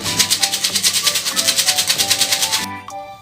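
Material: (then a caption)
Dried beans. A bottle containing mung beans is shaken back and forth, and the beans inside vibrate to make the sound: a steady, fast, bright rattle of rhythmic shaking bursts, mostly high-pitched hiss. After about 2.6 seconds the shaking stops, leaving a quiet tail with a couple of faint clicks.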